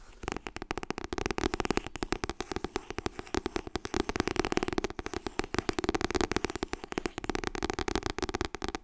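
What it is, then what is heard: Softcover book. Fingertips tap rapidly on the softcover paper book "Getting Things Done." A steady stream of quick, dry, papery taps carries a muted mid-low tone with almost no ring, continuing evenly for about nine seconds.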